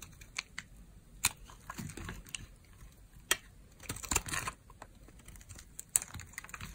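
A metal blade shaves thin crunchy layers from a pale green, very dry, old solid soap bar held in the hand while fingers press the bar. Sharp, bright crackling snaps and crisp crunches come at irregular intervals, with a longer rasping scrape in the middle and soft faint rustling between them.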